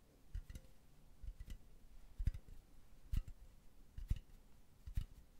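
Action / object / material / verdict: tap / metal mesh pen holder / metal mesh / none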